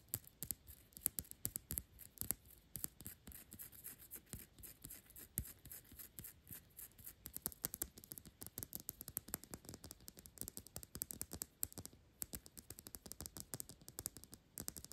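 Long pink nails tap rapidly on the thick round glass base of a perfume bottle that is partly full of liquid. The result is a quiet, steady stream of sharp, bright clicks with soft low knocks underneath, each dying away almost instantly.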